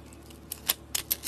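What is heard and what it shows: A metal box-cutter blade scrapes a rectangular solid soap bar with green dotted paint and a sugary crystal base, exposing the orange soap beneath. Five short, bright, crisp scraping crackles stand out over a quiet background, each dying away almost instantly.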